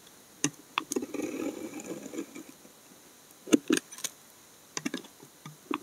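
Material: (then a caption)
Soap. A narrow remaining piece of solid brown laundry soap is held upright while a steel snap-off blade scrapes thick curls down its face. Sharp, short scraping strokes with bright edges come in scattered bursts, with a longer, softer rasping pass near the start, over a quiet background.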